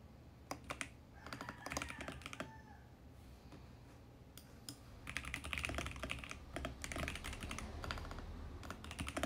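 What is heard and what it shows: Fingertips type steadily on a compact 68-key VGN X68 mechanical keyboard with a mint plastic case and purple, pink and teal plastic keycaps, its hollow body resting on a desk. Quick, uneven bursts of bright plastic clacks come in clusters over a low steady hum, with pauses between flurries and a busier run of keystrokes toward the end.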